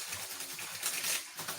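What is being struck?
Nothing is struck.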